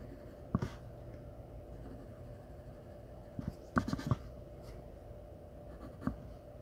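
A black graphite pencil held in the fingers strokes and scratches across a large flat sheet of drawing paper taped to a board while shading the face of a portrait. Soft, dry scratches stand out in short bursts over a steady low background hiss, with brief, sharper pencil strokes clustered near the middle and end. The sound stays quiet and dull, with little brightness and almost no ring.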